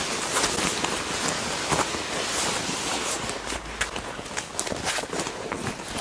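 Hands with long nails press, rub and squeeze a black leather jacket, likely faux, lying folded on a bed. The flexible, hollow garment gives off a steady, bright crinkling and creaking rustle, broken by short sharper squeaks and crackles as the surface is gripped and rubbed.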